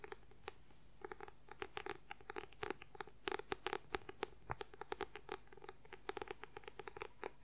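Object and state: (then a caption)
Paperback book. Fingernails tap quickly on the white paper cover of a paperback book held upright. About forty short, dry clicks come in uneven bursts and stop instantly, with no ring, over a faint steady background hum.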